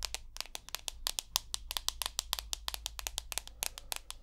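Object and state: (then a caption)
Smartphone glass screen tapped with fingernails. Long nails tap rapidly on the white glass front of a rose gold iPhone with an aluminium body, making 28 sharp, bright clicks with almost no ring. A steady low hum sits underneath, and a crossfade transition occurs midway through the run of taps.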